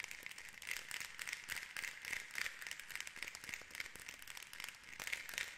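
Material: Wood.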